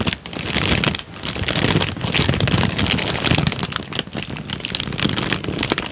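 A rolled tan paper sheet is twisted and crinkled between the fingertips right at the mic. It makes a dense, continuous crackle of bright, sharp crinkles over a low, close-up rustling body, swelling and dipping in loudness with brief quieter gaps as the paper is worked.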